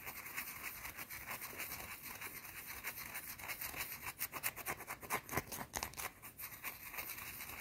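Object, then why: Round bar of soap. Long teal nails scratch a round, solid white bar of soap held in the hand, making fast, bright, dry scraping and rasping strokes. The scratching runs steadily, then grows louder and sharper in the middle before easing back to a steady scrape.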